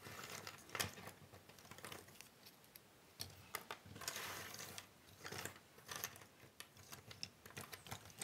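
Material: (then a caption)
Cardboard. Hands rub and shuffle a large pile of small, thin cardboard jigsaw puzzle pieces on a wooden table, working them with fingertips and nails. The result is soft, bright, crisp rustling full of tiny clicks and scratches. It swells into denser shuffling bursts along the way, then settles back to quieter ticking.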